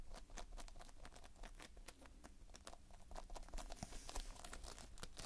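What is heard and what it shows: Fingertips press and scratch across the surface of multicolored Playfoam, foam beads held in a sticky binder. The result is a quiet, dense stream of fine crackling and sticky popping clicks over a low rumble, with brief bright ticks scattered throughout.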